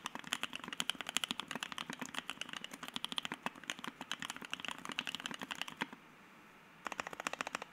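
Fingertips type quickly on a white Keycult No.1/60 60% mechanical keyboard with Soho switches, an FR-4 plate and PBT keycaps, producing a dense run of short, bright clacks. After a brief silence near the end, single keys near the edges of the board are pressed, giving another quick series of crisp, sharp taps with almost no ring.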